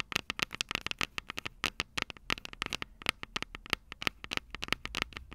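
Long purple nails tap and scratch the small, hollow, silver metal microphone capsules of a Tascam DR-05 recorder. A rapid, uneven run of dozens of sharp, dry clicks sounds bright and tinny, centered around 2.2 kHz, with little low end. Each click dies away almost instantly.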